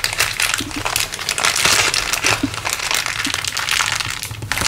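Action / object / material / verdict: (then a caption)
shake / thin plastic bag / plastic / none. A crumpled clear LDPE plastic bag is squeezed and crinkled in one hand above a wooden table. A steady stream of dense, bright crackling crinkles runs throughout, with most of the energy in the high range, over a faint low hum.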